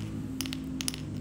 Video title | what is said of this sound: Ciri ciri Muncang yg siap diadu | dijatuhkan ke ubin lantai keramik, suaranya sudah mengentring seperti ini.